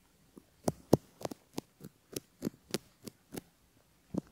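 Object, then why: Silicone ear model with a bamboo ear pick. A bamboo ear pick scratches along the folds of a silicone ear model and near its canal, where a metal microphone capsule sits, while fingertips steady the mold. It makes a steady series of quiet, short, crisp scraping ticks, each with a low-mid body and a faint bright edge, separated by near silence.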